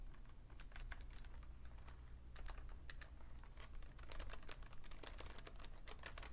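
Fingertips type on the keys and numpad of a vintage beige Fujitsu Siemens full-size plastic keyboard with a hollow case. They produce quick, bright clacking taps in uneven bursts over a steady low hum.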